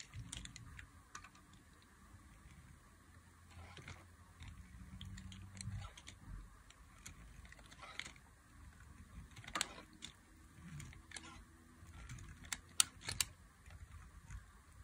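A thin, solid stick cut from white dry soap is held between fingers with long glittery nails while a box-cutter blade notches and curls it. Quiet, dry, crisp scraping and clicking ticks sound through the clip, with bright high crackle and a faint low hum underneath. A few sharper snaps stand out near the end.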